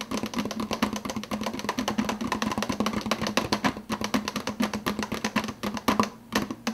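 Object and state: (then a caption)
Empty plastic soda cup, tapped on the lid. Fingertips rapidly tap the clear plastic lid of an empty, hollow 52 oz translucent blue plastic soda cup held in the other hand. The result is a fast, steady stream of short, crisp clicks with a hollow low-mid tone and little lingering ring.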